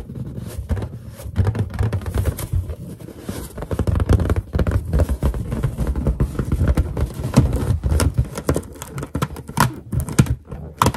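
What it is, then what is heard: Inflated latex balloon. Long painted nails tap and finger pads rub across a large, hollow, inflated white latex balloon, including near the knot. The result is a dense, quick patter of dull, boomy thumps with very short decay, mostly deep and low with faint bright clicks from the nails.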